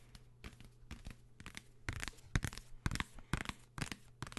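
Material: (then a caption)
Paper. A paper London travel guide book, made of a completely different material from an earlier book, is tapped about a dozen times in an irregular rhythm. Each tap is a short, dry, papery crackle over a low thump, with almost no ring.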